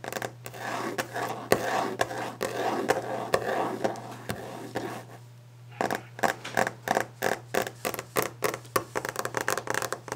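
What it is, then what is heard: Varnished wooden desk top. Long nails and fingertips tap and scratch quickly on a solid varnished wooden desk top. For the first five seconds there is dense, continuous scratching mixed with sharp taps. After a brief lull, a rapid series of crisp, distinct taps follows over a faint steady low hum.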